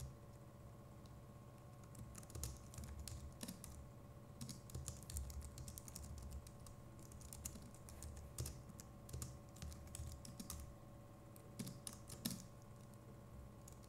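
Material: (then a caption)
Plastic. Fingertips of both hands type steadily on a compact Logitech MX Keys Mini keyboard with plastic keycaps, producing quiet, rapid, bright key clicks with short, dry taps and occasional louder strokes. A steady low hum with faint tonal lines sits underneath throughout.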